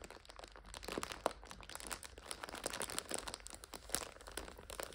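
A full purple instant noodle 5-pack in a clear plastic overwrap is pressed, scratched and crinkled by long nails. Dense, quiet crackling and crinkling fills the clip, with sharp bright ticks and short scratchy bursts that stop dead with no ring. The sound is close and dry, with little low end.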